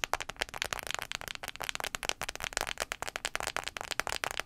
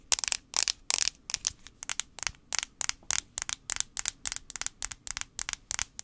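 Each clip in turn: First: smartphone glass screen tapped with fingernails. Second: plastic phone back.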